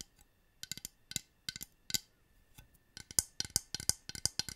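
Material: Plastic.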